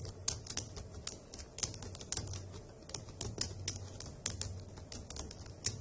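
Long acrylic nails and fingertips type rapidly across the hollow key caps of a dark grey plastic laptop keyboard. The result is a steady stream of bright, sharp clicks and taps with quick decay, layered over a faint low hum.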